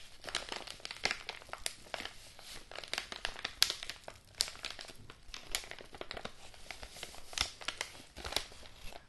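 A large, apparently empty, yellow kraft-paper padded mailing envelope is held in both hands while fingers and nails crinkle and scratch its paper surface. A dense run of dry, bright crackles and rustles comes in quick uneven bursts. Each snap stops dead with no ring, over a faint low rumble.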